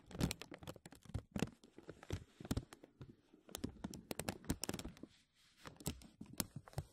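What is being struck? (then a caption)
Thin plastic vacuum-seal bag. Fingertips and nails scratch and crinkle a thin, clear, embossed plastic vacuum-seal bag stretched over a mesh mic dome. The result is a quiet, close stream of sharp crackles and soft low thumps with a bright, brittle edge. It comes in busy bursts, with a brief lull just past the five-second mark.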